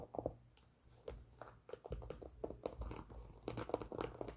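A white Nike Air Force 1 sneaker, hollow and empty, with a leather upper, printed laces and a rubber sole, is held in the hands and tapped and scratched with long pink nails. Soft, dry taps and scratchy, crinkling strokes come in quick irregular bursts, with dull low thumps underneath. Each sound stops almost at once, and the whole clip stays quiet.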